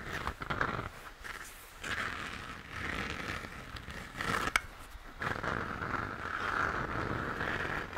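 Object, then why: Plastic moon lamp shell. Fingertips and nails scratch and tap the shell of a hollow plastic moon lamp, first held base-on and then turned over. Dry, scratchy rasps come in bursts with a bright mid-range hiss, and one sharp click stands out near the middle.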